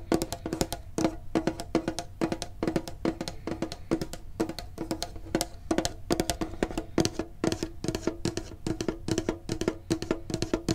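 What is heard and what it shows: Fingertips tap rapidly on a medium printed hollow metal Pokemon card tin, making a fast stream of short, dry clicks. Each tap carries a faint hollow ring around 330 Hz and dies away almost at once.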